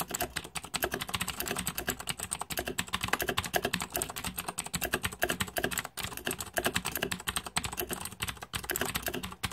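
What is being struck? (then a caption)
Mechanical keyboard with plastic keycaps. Fingertips type rapidly on a green-backlit Razer 2014 Deathadder mechanical keyboard with plastic keycaps. A dense, steady stream of sharp, bright plastic clicks and clacks follows, each keystroke short and dry. There are brief dips near the six- and eight-and-a-half-second marks.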